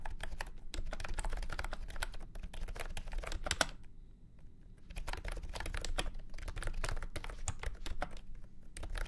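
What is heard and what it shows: A full-size beige and orange plastic keyboard with round keycaps and a hollow body, resting on a felt mat, is typed on with fingertips. It gives rapid, hollow, clacky key clicks over a deep low thump, each dying away almost at once. The typing pauses briefly around the middle, then resumes at a steady pace.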